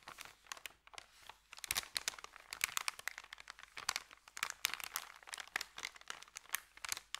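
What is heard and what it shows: Fingertips of both hands press and rub a thin, empty, flat white paper sandwich bag on carpet, making it crinkle. Quick, dense crackles and crunches come in uneven bursts, bright and crisp with almost no low end. Each crackle stops at once, with no ring.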